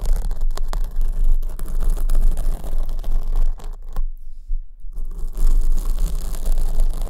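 Long acrylic nails scratch down the front of a large black foam windscreen on the right microphone, held at the top. Dense, rustling scratches with a low rumble underneath continue steadily, broken by a near-silent gap of about a second midway before the scratching resumes.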